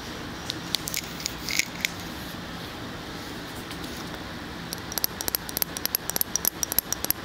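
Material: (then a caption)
Glass. Fingernails tap and scratch on a full glass jar of tan spread as it is moved from one side of the mic to the other. Sparse bright clicks and a soft scrape come first, then a quick run of sharp, dry taps with a faint high glassy ring over a steady low hiss.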